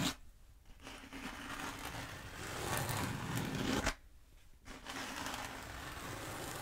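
Long nails scratch a long black bead foam roller, held diagonally, in downward strokes. The result is a dry, rasping scrape that builds gradually, cuts off abruptly into near-silence for a moment, then resumes steadily.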